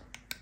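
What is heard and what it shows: An air-fried buckwheat cannolo shell, fresh out of the air fryer after 6 minutes at 200 °C, gives three short, sharp, high-pitched clicks. The crisp, dry sound shows a crunchy, baked-through shell.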